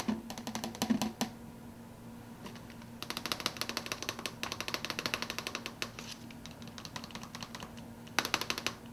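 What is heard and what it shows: Fingers tap rapidly on an empty soda cup, making quick, light, dry clicks with very short decay. The taps come in bursts: a brief flurry at the start, a long dense run in the middle and another short flurry near the end, with a faint steady hum underneath.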